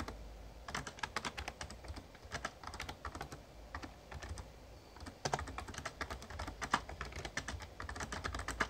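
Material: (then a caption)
Plastic. Fingertips type on the keys of a Razer Ornata Chroma, a full-size backlit plastic mecha-membrane gaming keyboard. Quick, dry, clicky taps come in dense bursts over a low background hum. A brief lull is followed by a faster, slightly louder run of keystrokes.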